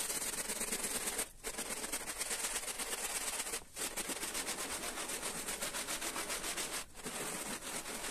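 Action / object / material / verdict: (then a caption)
scrape / wet wool-pile carpet scrubbed with a sponge / textile / none. A gloved hand in orange rubber gloves scrubs a small, round, patterned pile carpet (wool or synthetic) lying wet and soapy on a tiled floor, rubbing a green-yellow scrubbing sponge back and forth over the pile. The result is a steady, bright, wet rasping of quick strokes, broken by three brief pauses.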